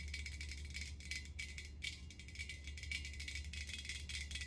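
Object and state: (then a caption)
Empty hammered metal ice bucket. Long nails rapidly tap and scratch an empty, hollow, hammered metal ice bucket that is tilted and held up. The result is a dense, continuous rattle of bright metallic clicks and scrapes, with a ringing tone near 2.3 kHz and a steady low hum underneath.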